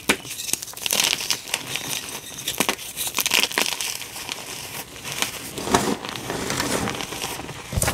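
Two solid pink dyed gym chalk blocks are held in the hands, then crushed and rubbed until they crumble into powder in a tray. Dry, bright crunching and crinkling crackles come in quick uneven bursts, with soft gritty rubbing between them.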